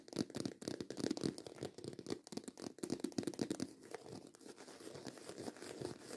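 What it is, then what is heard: Croc-embossed faux leather handbag. Long white acrylic nails scratch fast over the ridged texture of a black croc-embossed faux leather handbag, making a dense run of quick rasping strokes with a low-mid body around 266 Hz. For the first few seconds the scratches come in loud bursts, then they settle into a steadier, softer scraping.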